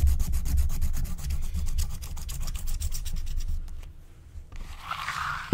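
A wooden stylus scratches across a thin, flat, black wax-coated scratch-art card held by a hand with long nails. Quick, dry scraping strokes repeat at about four per second, then thin out to near silence before a softer, brighter rubbing hiss. The clip ends on a sharp tap.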